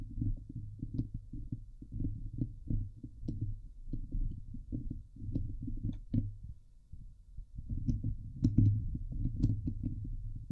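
Long nails scratch the hollow steel mesh dome grille of a Blue Yeti microphone. The sound is a steady run of dull, low, thumping rasps with occasional faint bright ticks. It eases into a brief quieter stretch near the middle, then builds back up louder.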